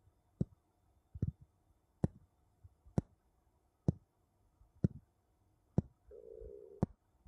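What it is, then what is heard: Wooden bowls tapped together. Two wooden bowls are tapped against each other, giving eight short, dull knocks spaced at roughly even intervals, each with a little low rattle after it. Between the last two taps there is a brief soft rubbing sound.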